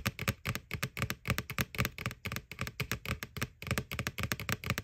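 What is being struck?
Plastic Halloween bucket.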